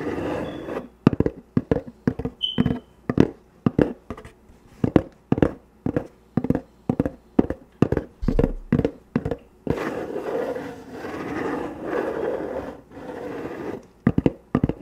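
Long painted fingernails, worn through fingerless gloves, tap and scratch a closed, hollow, medium-size corrugated cardboard shipping box with packing tape, set beside the microphone. Dozens of short, dry, hollow taps come first, then a stretch of continuous rustling scratching, and a few more quick taps at the end.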